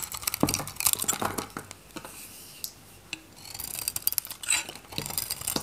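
A metal craft knife shaves curls from a dry, solid oval pink Godrej No.1 bar soap with a red varnished coating, held in the palm. It makes crisp, bright scraping and crackling cuts, with a quieter stretch midway before the sharp shaving resumes.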